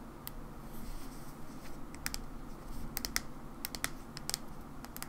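Long nails slowly tap the white plastic cap and then the body of a mauve plastic hair cream bottle. About fourteen short, bright clicks ring out over a low, steady background rumble, each dying away almost instantly.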